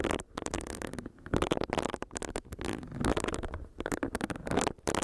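Long nails tap on a small, solid pink silicone facial brush while its bristles are rubbed against the microphone. The result is a dense run of quick, crisp ticks and scratchy brushing that swells and fades. It sounds soft and close, with a bright, airy top.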